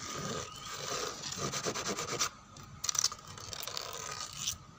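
Long painted fingernails scratch across a large, flat, solid dark brown wooden door with pale grain streaks. The result is a dry, bright, rasping scrape in uneven strokes, with a steady faint tone running underneath. The scraping breaks off into near-silence at one point, then returns with a few sharper, louder scratches.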